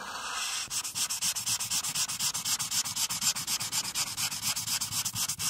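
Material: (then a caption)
Paper. A marker tip, held by a hand with long nails, scrubs rapidly back and forth across a flat paper coloring page on a clipboard to fill in a teal background. A bright, dry scratching hiss starts as a smooth stroke and then breaks into quick, regular rubbing strokes, about four per second, with almost no low end.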